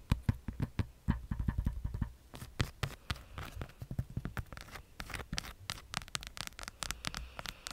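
A hand-sized, pink, hollow, hard-plastic light-up skull lamp is tapped and scratched with long acrylic nails. The result is a rapid, uneven run of dry, clicky taps with a low, hollow thump beneath and bright scratchy edges. Each tap dies away almost instantly.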